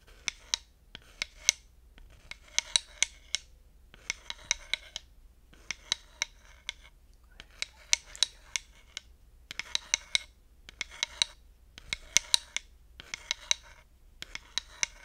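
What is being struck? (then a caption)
Wooden slotted hot pad scraped and tapped with a wooden stick. A thin wooden dowel stick scratches and taps along the long slots of a flat, solid, light wooden slotted hot pad while a fingertip steadies its edge. Bursts of dry, bright scraping alternate with brief gaps, punctuated by many sharp, clicky taps that die away almost instantly.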